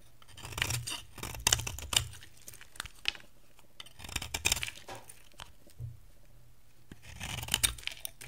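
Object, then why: Bar of soap carved with a metal blade. A hand-size, dry cream-white bar of soap with a pink rim is held in one hand while a metal cutter blade scrapes and carves flakes off it. Bright, crisp scraping and crunching strokes come in uneven bursts with short quiet gaps between them.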